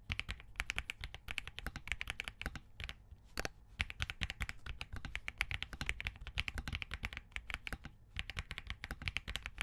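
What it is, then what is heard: Mechanical keyboard with POM case and plastic keycaps. Fingertips of both hands type continuously on a compact Spark67 mechanical keyboard with Crane switches, a POM case and plastic keycaps. A rapid stream of short, crisp, bright clacks runs throughout, each with a dull low thud beneath. Brief pauses come near 3 and 8 seconds.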